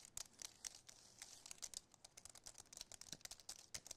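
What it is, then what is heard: Aluminum and plastic keyboard tapped. Fingertips and nails tap the keys of a compact white aluminum and plastic wireless keyboard, first up close and then held up tilted. About 25 quick, dry, bright clicks land in an uneven run, with almost no low end and no ring after each tap.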